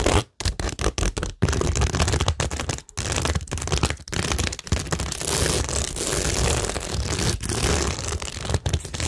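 Long nails scratch along the rows of a cork tingle board covered in plastic rhinestones, pearls and gems. The result is a dense, continuous rasping texture with a strong low rumble and a bright hiss on top. Brief pauses break up the strokes early on before the scratching runs more steadily.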